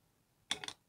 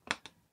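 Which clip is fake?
The second.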